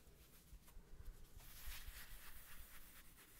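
Fingertips and nails rub and scratch the red patterned fabric face of a thin, solid, small square woven rug-style coaster held in the hands. The result is a quiet, continuous scratchy rustle over a low rumble, growing brighter and louder in the middle of the clip before settling back down.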